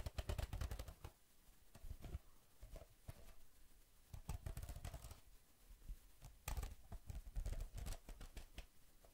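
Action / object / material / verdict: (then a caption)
tap / spiral notebook with laminated cardboard cover / laminated cardboard / none. Fingertips tap and lightly scratch the glossy printed laminated cardboard cover of a spiral-bound notebook held upright close to the microphone. Quick, dry taps come in dense bursts with short scratchy strokes between them. Each tap has a low thump with a bright click on top and no ring.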